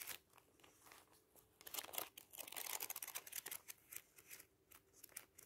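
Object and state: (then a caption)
Thick paper booklet, pages flipped. Fingers riffle and flip the thin paper pages of a thick bound booklet resting on tissue paper. Crisp, bright rustling and quick papery flicks come in uneven bursts, thickest through the middle of the clip, with faint crinkling in the pauses.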